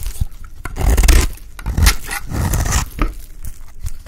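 A blade scrapes crumbly flakes off the end of a solid, dry white bar of soap. The scraping comes in rough, uneven strokes with a gritty, crackling texture and a low, rumbling body, swelling and fading across the clip.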